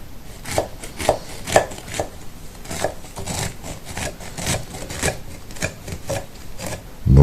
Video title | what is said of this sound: 🍎 Τριφτή Μηλόπιτα - Apple Crumble - Εύκολη & Αφράτη Συνταγή 🍰 | you can hear from the sound of the knife how crispy it is